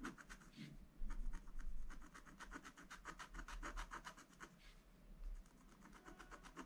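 A wooden stylus scratches small areas near the top edge of a spiral-bound scratch-art page with black coated paper, while a hand holds the book. Quick, dry, bright scratching strokes repeat rapidly over a steady low hum, loudest in the second and third seconds.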